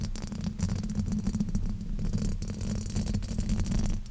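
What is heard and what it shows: Fingertips and nails scratch and rub a black foam windscreen fitted over a silver microphone. The result is a continuous, close, low rumbling scrape with a steady hum-like bass around 90 Hz and scattered bright crackly rasps from the foam.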